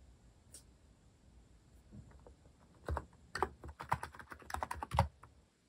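Fingertips type rapidly on a compact white-case mechanical keyboard with cream and orange cat-themed plastic keycaps, resting on a wooden desk. After a quiet opening with a few faint taps, a quick run of key strokes begins around the three-second mark, each a short, dry clack with a low thud and a mid-range click. The strokes fade quickly between presses.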